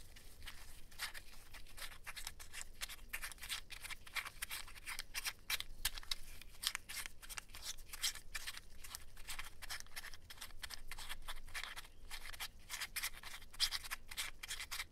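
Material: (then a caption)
Plastic. A stack of small solid green plastic poker chips is held in both latex-gloved hands as the fingers rub the chips and click them against each other. Quick, bright clacks and riffling clicks sound over a faint low hum, with dense, short taps that barely ring.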